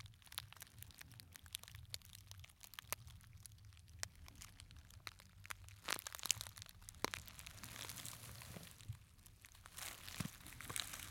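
A small, hollow gold glittery fabric clutch purse is held up close and crumpled and scratched with fingertips. The result is quiet, bright crinkling and sharp crackles over a faint low hum, with denser rustling bursts near the middle and end.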